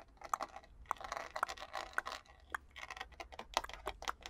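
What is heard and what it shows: A purple plastic paddle hairbrush with a rhinestone-studded back and a glitter heart has its hollow plastic back and handle tapped and scratched with long nails. The result is a quick, irregular run of dry, clicky taps with a hollow midrange knock, separated by soft scratchy rustling. Each tap dies away almost instantly.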